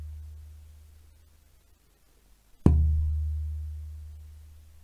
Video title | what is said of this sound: GGBO 2021 Acoustic guitar build - Choice of materials | now i can hear a note sustaining for a good three seconds i would say probably longer